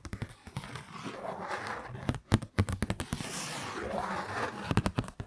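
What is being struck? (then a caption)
Kraft paper card. A kraft-paper Christmas card held in both hands while nails scratch and tap its printed front. Soft, papery scratching sweeps rise and fade twice, broken up by sharp, dry taps that come in quick irregular clusters, the loudest near the middle and the end.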